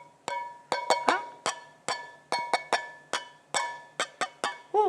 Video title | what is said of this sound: 13/04/22 - 3º Ano EF - Ciências - Produzir e identificar sons - parte 2 | esse som com este objeto de madeira no seu percutir eu poderia dizer que esse som é metálico